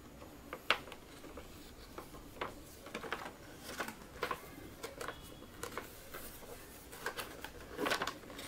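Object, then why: Small cardboard box with plastic window. A small rectangular holographic cardboard toy box with a clear plastic window, holding a packaged mermaid toy set, is held in both hands and turned over while fingertips and short nails tap and rub its surface. Quiet, dry, clicky taps land at irregular intervals over a soft papery rubbing hiss. A louder crinkly scrape near the end briefly brightens the sound.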